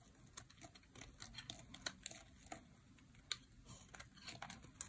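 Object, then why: Bar of soap cut with a metal blade. A dry, solid light blue bar of soap is held in hand while a metal blade carves flakes off it. Quiet, crisp scraping and crinkling bursts come with bright, sharp clicks as the flakes break away, over a faint low rumble.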